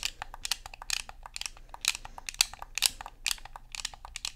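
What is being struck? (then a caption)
Plastic game controller. Thumbs click the buttons and fingers tap the body of a black Xbox controller made of hollow plastic. The result is a quick, irregular run of sharp, bright clicks and light taps that stop almost instantly, with little low end.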